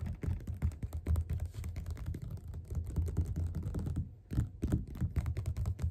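Both hands tap fast with the fingerpads on the cover of a closed, solid yellow glossy paperback copy of Othello lying flat on a table. The result is a dense, rapid patter of soft, dull, low thuds with very little brightness, broken by a brief pause around the four-second mark before the tapping resumes.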